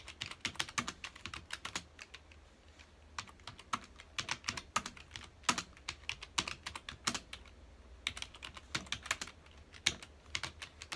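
Fingertips of both hands type on a full-size black plastic computer keyboard with hollow key housings, resting on a dark desk. Quick, bright, clicky keystrokes come in bursts, each dying away almost at once, with brief pauses between runs. The steady clatter stays light and high, with little low end.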